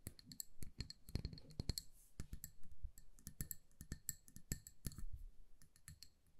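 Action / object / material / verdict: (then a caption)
tap / glass candle jar filled with wax / glass / none. Long nails tap quickly and irregularly on the sides and base of a hand-sized amber glass jar filled with candle wax and wrapped in a paper label. Each tap is a crisp, dry click with a dull, low thud, while faint bright glassy pings ring briefly above it. The taps come in uneven bursts and die away almost instantly.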